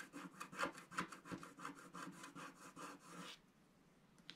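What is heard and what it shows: A wooden stick scrapes across the wave areas of a flat sheet of scratch-art paper in about nine quick, rhythmic strokes. Each stroke gives a dry, raspy scratch centered near 1.2 kHz with some bright hiss. The scraping stops after about three seconds, leaving near silence broken by one faint tick.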